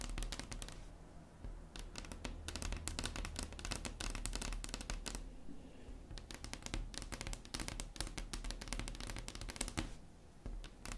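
Long acrylic nails tap quickly on a solid, flat wood-grain tabletop. The result is a dense run of short, crisp clicks with a woody low body and bright, brittle edges. The tapping comes in busy bursts with brief softer pauses between them.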